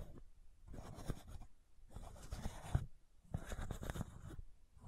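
Long nails scratch the white plastic cap of a supplement bottle. They make quiet, dry, rasping strokes in repeated short bursts with brief pauses between them, and the sound is mostly low and muffled with a faint bright edge.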